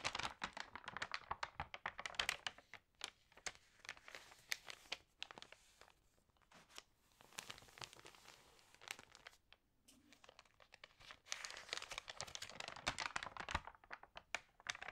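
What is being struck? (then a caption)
Glossy paper magazine pages. Fingertips and long nails rub, press flat and turn the glossy pages of an open interior-design magazine. Dense, bright crinkling and tearing-like rustles come in busy bursts with many sharp crackles, easing into quieter spells of soft rubbing around the middle before swelling again near the end.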